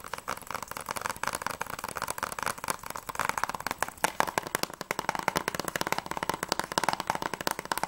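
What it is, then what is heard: Plastic game case. A closed, hollow PS3 game case of The Walking Dead, made of hard clear plastic in a Blu-ray style and held in both hands, is tapped fast on its front cover with long manicured nails. The result is a steady stream of quick, dry plastic clicks with no ring, centred around 900 Hz with a bright edge and very little low end.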